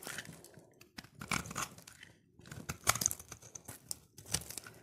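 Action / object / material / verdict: scrape / soap bar / soap / none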